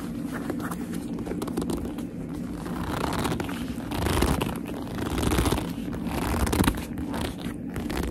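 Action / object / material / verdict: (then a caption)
scrape / leather handbag / leather / none. Long nails rub and grip the surface of a hollow black leather handbag, making continuous squeaky, scraping friction sounds over a steady low hum. The rubbing swells louder in bursts around the middle and near the end, with no speech.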